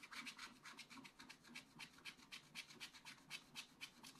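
A wooden stylus scratches a lemon shape into a black-coated scratch art paper page. It makes quick, bright, papery scraping strokes in a steady rhythm of about four per second. Each stroke is short and dry, with no ring.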